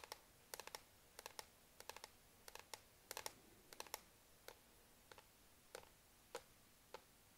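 Long nails tap rapidly on the solid black plastic palm rest of a laptop, just to the right of the touchpad. The result is short, dry, bright clicks in quick bursts of two or three, with almost no low end and no ringing after each tap, over a quiet background.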